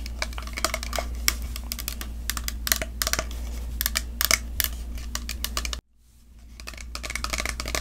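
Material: Plastic.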